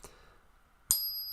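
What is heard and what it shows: A 40% silver half dollar coin is pinged once, giving a sharp strike followed by a clear, very high-pitched ring with a second tone that sustains to the end. Its ring is higher in pitch than that of a 90% silver coin.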